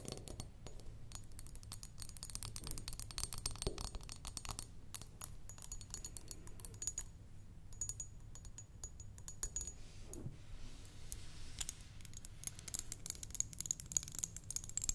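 Long glittery nails tap rapidly on a thick clear glass perfume bottle with a red top, partly filled with liquid, before the bottle is picked up in the hand. The taps are quiet, quick, dry clicks with a faint high glassy ping, over a steady low hum.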